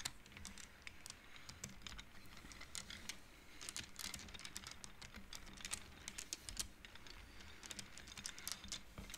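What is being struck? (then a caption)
Wooden abacus beads on metal rods. Both hands slide the solid painted wooden beads of a wooden abacus back and forth along its metal rods with fingertips and nails, knocking the beads together. The result is a quiet, steady patter of dry, bright clicks and clacks that stop short, with a faint low rumble underneath.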